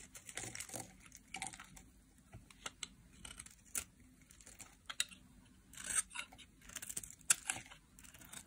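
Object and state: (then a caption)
Dry soap bar being scraped. A solid oval pink dry soap bar held in the hand is shaved and scraped with a metal utility knife blade, curls of soap falling off. Short, dry, bright scraping and crinkly cuts come in uneven bursts, with almost no low end and quiet gaps between strokes.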